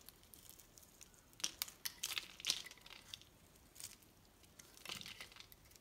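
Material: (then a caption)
Soap. A hand-sized solid pink bar of soap, held in one hand, is carved with a metal knife blade that scrapes and shaves off thin curls of soap. The result is quiet, irregular bursts of crisp, bright crackling and scraping, almost entirely high-pitched with very little low end, separated by near-silent pauses.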